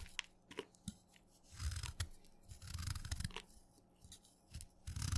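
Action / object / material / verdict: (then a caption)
scrape / chalk stick cut with a steel knife / chalk / none. A steel kitchen knife shaves crumbly black flakes off a solid, dark, wet black chalk stick held in the fingers. The quiet, crunchy scrapes come in short bursts with a soft low body and bright, gritty crackles. Each stroke ends quickly with little ring.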